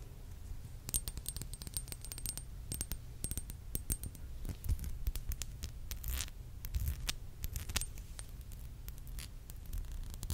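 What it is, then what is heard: Glass dropper bottle of oil. A small glass serum bottle with a white dropper cap, filled with yellow oil, is held up and tapped with long acrylic nails. Quick, sharp, bright clicks come in clusters over a steady low hum, with a faint high whine during the first few seconds.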